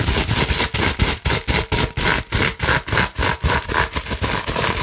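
Long nails rapidly scratch across the bubbles of a large, clear plastic bubble wrap sheet held upright. About fourteen quick, rough, broadband scratching bursts are heard at roughly four per second, with a crinkly bright top and a dull low rumble underneath.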